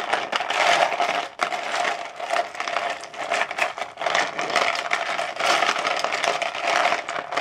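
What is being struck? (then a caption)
Ice cubes in a plastic bowl. Fingertips stir and rake through loose ice cubes in a large frosted translucent plastic bowl, the cubes clattering against each other and the bowl walls. The sound is a continuous, dense rattling and scraping with a bright, clicky texture and no low end. It holds steady throughout, with brief dips between strokes.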